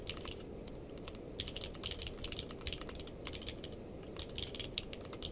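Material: Plastic.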